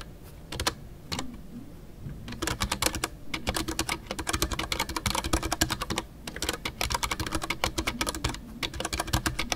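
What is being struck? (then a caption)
Mechanical keyboard with PBT plastic keycaps. Fingertips type continuously on a full-size white Ducky One 2 mechanical keyboard with MX Brown switches and custom artisanal PBT plastic keycaps. The result is a rapid stream of short, crisp clacks with a muted low thock beneath a bright click. Brief pauses fall near 2 seconds and 6 seconds.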